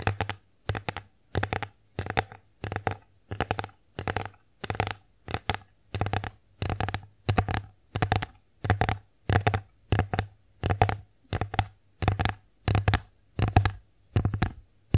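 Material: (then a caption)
Wood. Long nails tap and scratch across the engraved face of a bear-shaped wooden plate held close to the microphone. Quick clusters of short, dull taps repeat in a steady rhythm, each with a low thump and a brief bright click, and they fade almost instantly into near silence between bursts.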